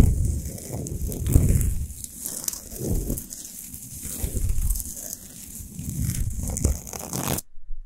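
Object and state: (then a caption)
Himalayan salt lamp being scratched. Long nails on both hands scratch fast over a large, lit, spherical Himalayan rock salt lamp of solid salt. The gritty, crackling rasp comes in uneven waves, heavy in low rumble with a faint bright hiss above. It swells and fades for about seven seconds, then cuts off abruptly.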